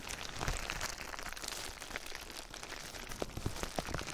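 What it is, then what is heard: Plastic bubble wrap. Clear plastic bubble wrap covering a binaural microphone is gripped, rubbed and scratched with fingertips and nails. The result is a steady, close-up crinkling and rustling with dense, bright crackles, and a few sharper pops stand out near the end.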